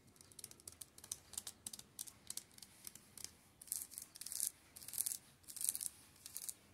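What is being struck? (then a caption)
Plastic shrink-wrapped paperback books. Fingertips tap and rub along the spines of a row of shrink-wrapped paperback manga, giving quick, bright, dry clicks like typing. Short crinkly scratches on the plastic wrap follow, all quiet and irregular, with almost nothing in the low end.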